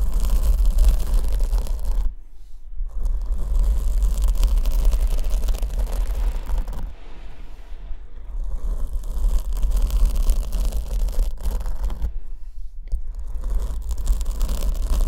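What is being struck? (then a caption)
Open-cell foam microphone windscreen. Long acrylic nails scratch and brush a large black open-cell foam windscreen on the left condenser microphone, which is held with one hand. The result is a dense, continuous scratchy rustle over a heavy low rumble, dropping to quieter brushing around 2–3, 7–8.5 and 12–13 seconds.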